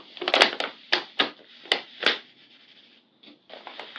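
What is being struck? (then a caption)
Handmade paper bag filled with small paper packets. A large, flat, glossy handmade paper blind bag shaped like Hello Kitty and filled with small paper packets lies on a tan surface. Two hands with long purple nails press, pat and rub it. Sharp, bright paper crinkles and crackles come in bursts, then give way to softer rustling.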